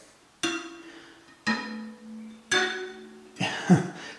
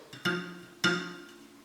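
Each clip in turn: First: tensioned bicycle spokes ringing. Second: loose bicycle spoke.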